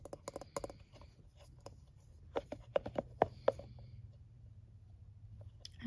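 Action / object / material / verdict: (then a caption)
tap / plastic scalp massager with silicone bristles / plastic, silicone / none. A palm-sized scalp massager with a blue plastic base and soft silicone bristles is held in hand while fingertips and nails rub and tap the bristles. Quick, irregular clicks and ticks come in a busy cluster at first, then a few sharper, louder taps, with soft rubbing between them. The sound is quiet and close, with a short, dry decay.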